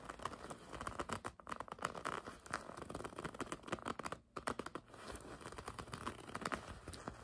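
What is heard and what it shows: Long red nails scratch and grip the surface of a black and red leather racing jacket with a checkered pattern and embroidery, lying flat. A dense, continuous stream of quick scratching, creaking and crinkling leather sounds rises and falls, with a brief quiet gap partway through.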